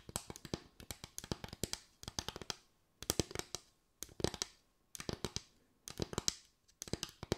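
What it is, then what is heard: Bamboo slatted board. A small board of parallel bamboo slats with gaps is tapped and scratched with long white acrylic nails. Quick bursts of dry, bright clicks with faint scratching come in several clusters separated by short pauses. Each tap dies away almost instantly.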